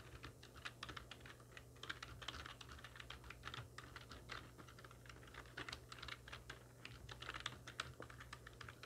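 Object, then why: Plastic computer keyboard. Long nails and fingertips of both hands type rapidly on a full-size black plastic computer keyboard with hollow keys resting on a wooden desk. The result is a dense, steady stream of sharp, bright clicks and clacks that die away almost instantly, over a low, constant hum.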